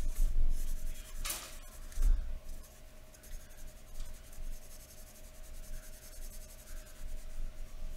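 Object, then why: Pencil on drawing paper. A wooden graphite pencil held in the fingers scratches across thin white drawing paper lying flat on a wooden table in short shading strokes. The result is a quick, dry, scratchy rasp with a low, muffled body and a faint steady hum beneath it.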